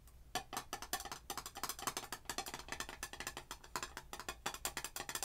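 Long acrylic nails tap quickly on a red glass jar candle filled with wax, striking its gold metal screw lid and the glass sides. It makes a fast, uneven run of light, bright clicks with almost no ring and very little low end.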